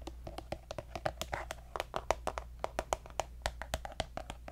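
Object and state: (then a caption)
Plastic lotion tube. A partly full pink soft plastic lotion squeeze tube with a gold cap is tapped with fingertips and nails in quick, irregular succession. Each tap is a short, dry click with a hollow plastic tone near 650 Hz and a bright clicky edge. A steady low hum sits underneath.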